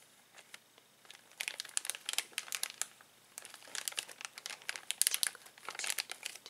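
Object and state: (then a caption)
Plastic zip bag of toys. A flat hand and fingertips press, rub and crinkle a clear plastic zip bag filled with small colorful plastic toy pieces lying flat on a table. The result is dense, bright crinkling in quick bursts with short, quiet pauses between them, and no low rumble.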